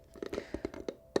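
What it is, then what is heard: Small wooden box. A small wooden box is tapped lightly in quick, irregular succession. The taps are short, dry, hollow knocks centered in the low-mid range, each dying away almost instantly, and the final tap is the loudest.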